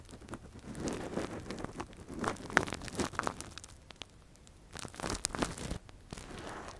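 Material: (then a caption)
Silicone. A thin metal earpick, held in a gloved hand, scratches and probes inside the hollow canal of a soft, translucent, hand-sized silicone ear microphone cover. The result is close, crinkly scraping and crackling with irregular bursts of short, bright ticks, separated by a quieter pause near the middle.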